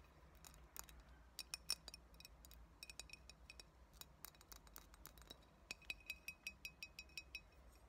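A clear, empty glass coffee bottle with a metal screw cap is tilted in the hands while long nails tap its glass body. The result is a quick run of sharp, bright clinks with a faint ring, uneven at first and then falling into a steady rhythm near the end, over a low background hum.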